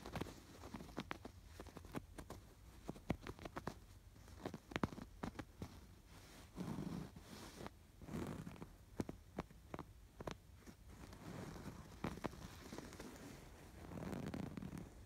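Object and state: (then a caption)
Yarn-embroidered canvas pillow. Fingertips and nails scratch the stitches of a stuffed canvas pillow with a raised yarn lattice embroidery. The sound is a quiet run of short, sharp scratchy clicks over a soft, low, muffled rustle that swells in a few longer strokes.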